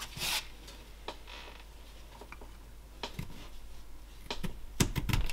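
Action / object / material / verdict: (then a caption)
scrape / basswood carving block / basswood / none. A roughing knife carves a small solid lime (basswood) block held in a gloved hand, making repeated short cutting and scraping strokes. The strokes are dry, bright and irregular, over a steady low hum, with no ring after each cut. They grow denser and louder toward the end.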